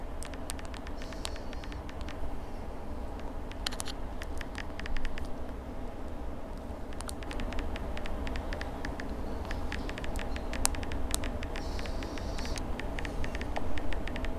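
A small handheld smartphone in a dark plastic case, with a glass screen and glass back, is held in both hands and tapped with long acrylic nails on the screen and the case. The result is a quick, irregular patter of sharp, bright clicks over a steady low rumble.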